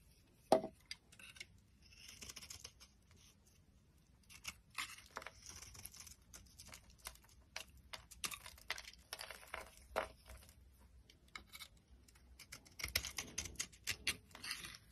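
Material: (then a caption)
Soap. A solid, dry cream bar soap held in the palm is shaved into flakes with a metal utility blade. Quiet, bright scraping strokes come in bursts with crisp, dry tearing and crinkling textures, opening with a single sharper click near the start.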